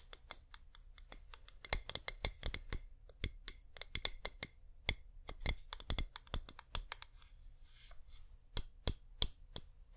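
A flameless wax pillar candle is held upright and tapped with long nails, giving a rapid, irregular run of sharp, dry, bright clicks that stop instantly. A faint, steady low hum sits beneath the taps throughout.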